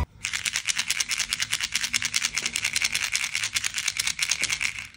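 A blue plastic Coopy Ramune shaker mascot charm from a capsule toy, with loose pieces inside, is shaken steadily for about five seconds. It gives a bright, dry, rapid rattle that is judged a nice sound.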